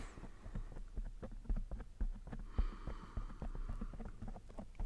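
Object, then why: Foam microphone windscreen. Fingertips and nails of one hand scratch and rub a soft, fist-sized black foam microphone windscreen in slow strokes. The result is a steady run of muffled, low, thumping rustles at an uneven pace, with a faint brighter scratchy hiss rising briefly in the middle.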